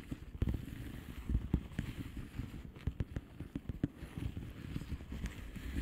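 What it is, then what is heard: Plastic bubble wrap envelope. A flat blue plastic bubble wrap envelope is tapped with long polished fingernails, giving a quiet run of soft, dull, low taps. There are 12 short, dry taps with almost no ring, spread irregularly over a constant low rumble.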